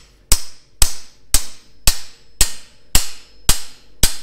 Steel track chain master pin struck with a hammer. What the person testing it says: you can hear it got solid again that's because our press fits are about to re-engage with the bores